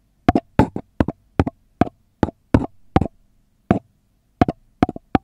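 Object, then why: Upside-down paper cup tapped with fingernails. A long red nail taps and knocks on the flat bottom of a hollow, empty brown kraft paper cup held upside down. The result is an irregular string of short, dry, hollow knocks, often in quick doubles, each dying away almost at once. The knocks have a low body and a papery click.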